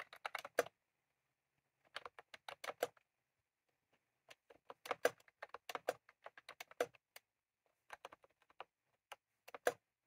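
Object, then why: Plastic mechanical keyboard with round keycaps. Both hands type rapidly with their fingertips on a full-size, retro-style plastic mechanical keyboard with round cream plastic keycaps and a plastic case, resting on a desk. Quick, dry clicking taps, mid-pitched and bright, come in several bursts separated by short pauses.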